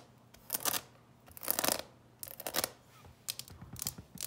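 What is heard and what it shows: A clear plastic coffin-shaped box full of candies is held in the hands and tapped with long nails along its lid and sides, and it may be tilted so the candies shift inside. Bright, crisp clicks and rattles come in irregular bursts, some clustered and some scattered, with almost no low end and no ring between them.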